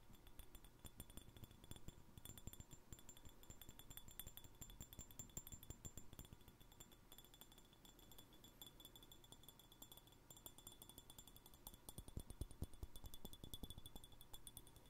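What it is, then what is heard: Empty glass jar. Fingernails tap a small, empty, clear glass jar with a threaded rim and no lid, making a steady stream of quick, bright clinks with short high rings over a low, dull thump. The tapping runs continuously and fairly quietly throughout, with slightly louder bursts near the start and toward the end.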